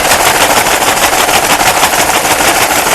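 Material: Nothing is struck.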